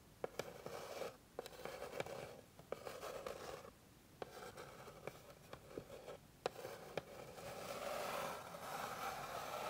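Long pink nails scratch across the surface of a flat, light, solid wooden board. Bursts of dry, midrange scraping alternate with short pauses, and sharp clicks cut in where the nails catch the wood. The scratching grows steadier and louder toward the end.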